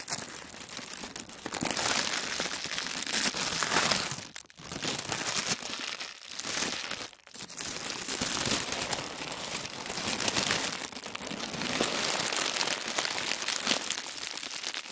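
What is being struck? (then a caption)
Thin tissue paper sheet. A thin sheet of tissue paper is smoothed, rubbed and folded with both palms and fingers on a wooden table. It makes a steady, bright crinkling rustle, with brief quiet gaps around 4.5 and 7 seconds before the crinkling resumes.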